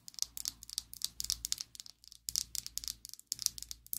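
A slim pink and black plastic Essence liquid lipstick tube, held above a table, is tapped and scratched with long acrylic nails. Quick, bright clicks come in irregular bursts, mixed with dry scratching and separated by short pauses.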